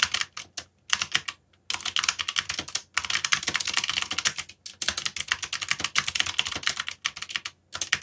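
Fingertips type continuously on a backlit mechanical computer keyboard with plastic keycaps and hollow key switches. The result is rapid bursts of short, bright, clacky keystrokes, with almost no low end and no ring after each press. Brief pauses break up the typing.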